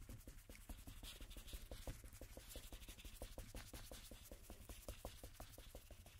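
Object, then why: Coated cardstock playing card rubbed with a cotton swab. A single thin coated-cardstock playing card lies flat, back side up, and is rubbed repeatedly with a cotton swab held in a red-gloved hand. Quick, soft, rhythmic swishing strokes, roughly three per second, each carry a short dull thump over a steady low rumble and faint high hiss.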